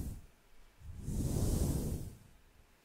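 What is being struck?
Nothing is struck.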